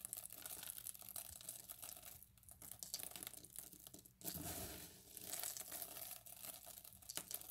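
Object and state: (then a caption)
Pile of cut soap cubes. Bare hands scoop handfuls of small pale green and white bar-soap cubes from a pile on a yellow mat and let them fall back onto the pile. The result is a bright, dense pattering and crinkling of many quick, dry clicks, with a fuller, louder rush of cubes midway through.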